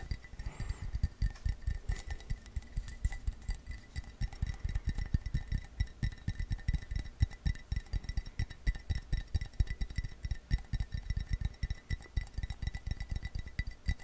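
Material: Ceramic.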